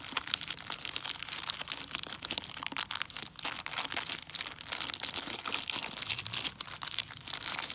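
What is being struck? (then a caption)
Chocolate bar in a plastic wrapper. A large, flat, full Buck Bar milk chocolate bar in a crinkly plastic wrapper is held in the hand while dark-painted long nails and fingertips crinkle and scratch at the wrapper. The result is a steady stream of bright, crisp crackles and scratches with no low body, and many quick taps that die away almost instantly.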